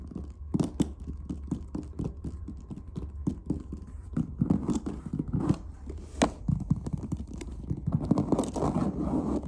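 Fingertips tap and scratch the top of a closed, hollow black hard clarinet case covered in textured leatherette, with stitching and metal latches. The result is a steady run of short, dry, low thumps mixed with soft scratchy rustling that fills in more densely toward the end.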